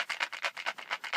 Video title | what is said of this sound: 5.11 Tactical Battery Case | you will get rattle uh from this particular case